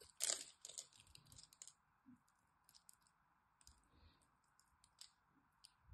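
A small blade scrapes the scored edge of a solid green dry soap bar held in the hand, and cubes crumble off. A loud, bright crunch opens the clip, followed by scattered dry crackles and clicks over a faint steady hiss.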